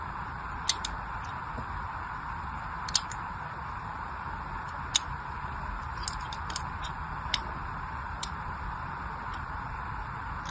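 A small blade scores shallow lines into the surface of a hand-sized solid pink bar of soap with an embossed logo, held in one hand with long white nails. Short, crisp, bright scratching ticks sound at irregular intervals over a steady, even hiss, each one dying away almost at once.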